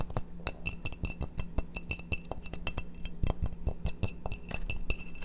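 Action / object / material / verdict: tap / glazed ceramic plate / ceramic / none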